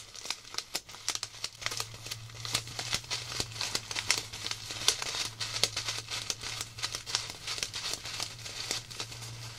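A small clear plastic zip-lock bag of colorful styrofoam beads is squeezed and crinkled by fingertips with long black nails. The result is dense, bright crinkling and rustling broken by many sharp, quick clicks, over a faint steady low hum.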